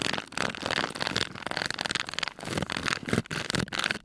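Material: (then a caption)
Aluminum. A hand twists the screw lid on and off a small, round aluminum tin that appears empty, and rubs over the metal lid. The result is a dense, grinding rasp with bright metallic scraping. It comes in rapid, uneven bursts for about four seconds.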